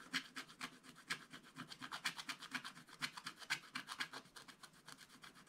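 A wooden stylus scratches and rubs the coating off a black-coated scratch-art card page in a spiral book. It makes about two dozen quick, dry, bright rasping strokes at a steady pace of roughly two per second, each short with no ring and almost no low end.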